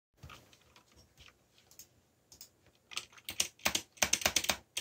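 Fingertips, one wearing a bandage, tap the keys of a backlit mechanical computer keyboard with black plastic keycaps. The clicks are short, bright and dry in an irregular typing rhythm, starting soft and growing louder toward the end.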